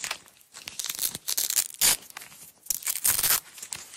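Long nails peel a strip off a small roll of red nylon hook-and-loop tape resting on a black surface. Bursts of bright, crackling ripping come in uneven pulls, each loud tear separated by quieter scratchy stretches.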